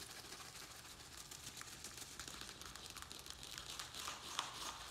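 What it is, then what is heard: Thin plastic plant pot. A round black plastic plant pot holding soil and a small succulent is gripped in both hands while fingertips and nails scratch and squeeze its thin plastic walls. The result is a steady, bright crinkling and scratching with quick irregular ticks, peaking in a sharper click near the end.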